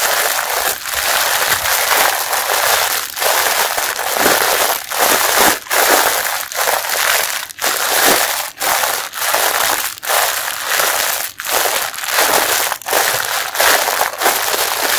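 Fingers crumple and squeeze the clear plastic wrapper of a packaged pink mesh bath sponge. Dense, bright crinkling and crackling fills the clip in steady bursts, each broken by a brief quiet dip, with almost no low end.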